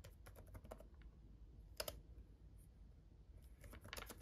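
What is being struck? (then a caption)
Plastic laptop keyboard keys. Both hands type with their fingertips on a black gaming laptop keyboard with red backlit plastic keys. Quick, light plastic clicks come in bursts, with a sharper pair of taps midway, a quieter pause, and another flurry at the end, over a faint low hum.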